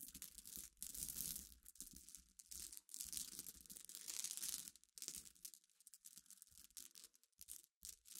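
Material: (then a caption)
Glass. Long dark-polished nails and fingertips scratch and rake through a pile of small clear flat-backed glass pebbles mixed with crushed glass chips on black cloth. The result is a bright, gritty rattling and crinkling that comes in dense bursts, with brief quiet gaps between them.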